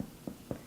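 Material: Bread.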